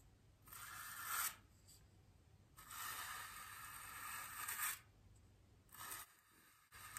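A small bristle paintbrush brushes and presses across the inner and outer surface of a large, solid white polystyrene foam wreath ring. Three scratchy, hissing strokes stand out: a short one, a long sustained one, and a brief final one. They carry a bright, airy rasp with little low end between quiet pauses.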